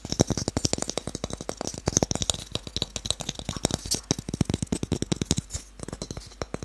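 A small, light, solid pale wooden cube held in one hand is tapped rapidly on its faces with fingertips and short nails. The result is a fast, uneven stream of short, dry knocks and clicks with a low woody body, a bright nail tick on top, and no ring after each tap.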